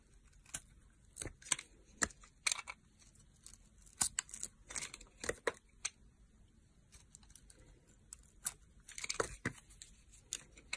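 A box-cutter blade scrapes and carves curls from the edge of a palm-sized, solid oval soap bar with gold glitter and an embossed logo, held in a hand with long nails. Quiet, crisp shaving strokes come in short, bright, dry bursts with little low end, spaced irregularly over a near-silent background.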